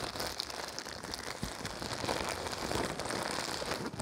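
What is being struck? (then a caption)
Thin plastic wrapper. Fingers crumple and crinkle a thin, clear-white printed plastic wrapper held in both hands. It makes a steady, dense crackling with bright, rustling texture and small sharp pops, much like rain on a surface, continuing for the full clip.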